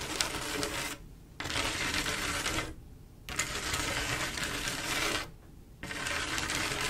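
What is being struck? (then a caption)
Mirror glass mosaic tile panel with grout. Long acrylic nails scratch and tap across a flat panel of silver mirror-glass mosaic tiles with grout, making a bright, crackly, busy texture of clicks and scrapes. The sound comes in four dense bursts separated by three brief quieter pauses.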